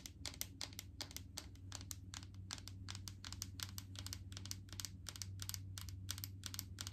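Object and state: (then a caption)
Plastic coconut oil jar. Long painted fingernails tap and scratch a large clear plastic jar full of coconut oil with a green lid, making a quick, uneven run of sharp, bright clicks and light scrapes. Each tap dies away almost instantly over a steady low hum.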